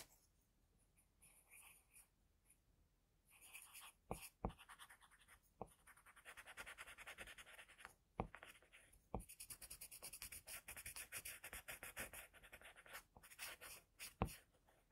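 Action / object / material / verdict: scrape / paper drawing sheet / paper / none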